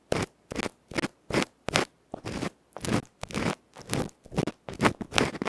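A bamboo ear pick rubs and scratches fast and roughly across the felt face of a tiny electret microphone capsule, a metal can held between fingertips. It makes a rapid series of loud, separate crunchy, scraping bursts, each bright and broadband with short silences between strokes.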